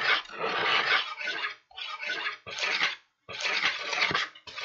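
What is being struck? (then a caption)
Kraft paper bag. A small red-handled tool scratches the surface of an empty, hollow kraft paper bag with blue print, held up in one hand. Bright, dry, papery scratching comes in several rough bursts separated by brief silences.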